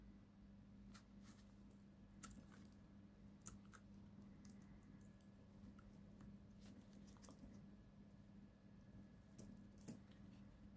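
A utility knife blade cuts crunchy slivers from a solid, palm-sized bar of pale yellow dried soap, scored with many lines and held in a gloved hand. Scattered short, crisp crackles and snaps with bright edges sound over a quiet, steady low hum, with a few sharper cracks standing out.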